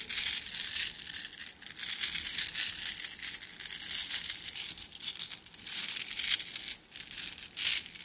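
A plastic mesh bag of flat blue glass gems is crushed and squeezed in the hand, giving a steady, bright, crinkly clatter of gems grinding and clicking against each other. The sound has almost no low end and short dips where the squeezing pauses briefly.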